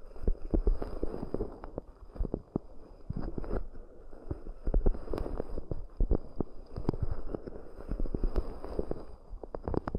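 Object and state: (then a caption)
Cork coaster bowls tapped. Long almond nails and fingertips tap and scratch the rims and outer sides of two identical shallow, round, hollow, empty cork dishes (raised-rim coasters) with microphones inside. Soft, deep, muffled thuds and dull clicks overlap with a low rumbling scratch. Many quick taps with almost no ring come in uneven bursts.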